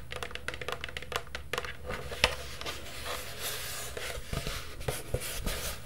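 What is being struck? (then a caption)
Plastic cauldron. Long purple nails tap and scratch a medium, hollow black plastic Halloween cauldron held up close. Quick, light clicks mix with soft scraping over a low, steady hum, with one sharper tap standing out near the middle. Each tap dies away almost at once, with no ring.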